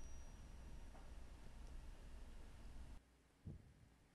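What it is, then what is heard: Fake silver dollar coin. A counterfeit Peace dollar, sold as a 90% silver coin, is struck for a ping test. Low background rumble gives way to a single brief, dull tap with almost no ring, and the coin is confirmed fake.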